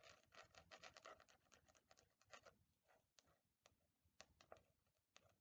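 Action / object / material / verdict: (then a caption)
scrape / faux leather hardcover notebook / faux leather / none. Long nails tap and scratch across the faux leather cover of a black Death Note replica hardcover notebook, held in both hands and tilted side to side. Quick, dry, bright scratching strokes come in a dense, irregular flurry for the first half, then thin out into sparser sharp taps and scrapes with almost no ring.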